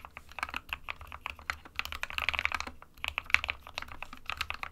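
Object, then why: Plastic mechanical keyboard. Both hands type with their fingertips on an SK61 small 60% mechanical keyboard with a white plastic case and plastic keycaps, resting on a printed desk mat. A rapid, steady stream of short, bright plastic key taps clatters on with a few brief lulls, each tap dying away almost instantly.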